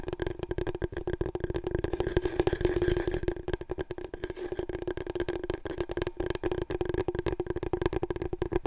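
Long nails tap quickly on a large, long, hollow, empty brown cardboard paper roll core held horizontally in front of the microphone. A rapid, steady stream of dry, short taps rings with a hollow, low-mid tone from the tube.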